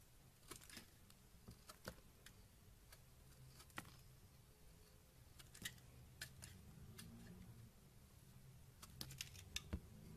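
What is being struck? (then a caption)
Bar of soap cut with a box cutter. A solid pink bar of soap held in the hand is carved into curls with a yellow box cutter. Quiet, short, bright scraping clicks sound at irregular intervals over a low, steady background rumble, with a denser cluster of cuts near the end.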